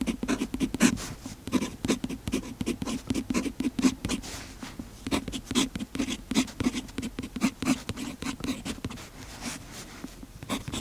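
A fountain pen's metal nib scratches across the page of an open paper notebook while writing. Quick, dry scratching strokes follow one another steadily, each a short burst with a faint low tone near 250 Hz and bright, papery hiss. The strokes come in dense clusters with brief pauses between words.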